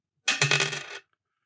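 A 50% silver 1968 Canadian dime is dropped onto a table and bounces several times in quick succession. It gives a bright, high ring with a low tone near 145 Hz that fades out within about a second, unlike the nickel dime, which only clicks.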